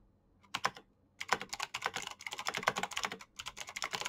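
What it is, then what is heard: Plastic mechanical keyboard. Fast fingertip typing with both hands on a black plastic backlit mechanical keyboard with clicky switches. Short, sharp, bright clacks come in a quick burst, pause briefly, then continue as a dense, steady run of keystrokes with almost no low end and no ring after each hit.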